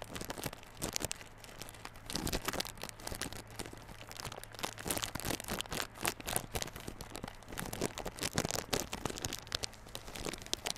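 Fingertips and short nails of both hands scratch and tap the crinkly front face of a small yellow Realme Buds Classic cardboard earphone box, still sealed in clear plastic film and lying on a table. Dense, bright crinkling and scratching blends with many quick, dry taps that stop without ringing, over a faint steady low hum.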